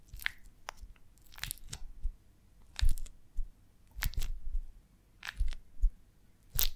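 A beeswax honeycomb on a branch, cupped in the hands, is tapped and scratched across its comb cells with long nails. The result is a series of soft, dry, waxy crunches and short scrapes, mostly low and muffled, with brief bright clicks at each tap and quiet pauses between them.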